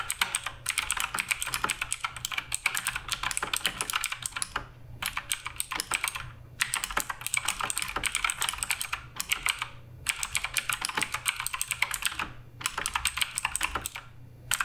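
Continuous fingertip typing on the plastic keycaps of a black RGB Redragon K588 Broadsword mechanical keyboard produces a rapid stream of bright, sharp clicks and clacks that barely ring. Brief pauses split the typing into bursts.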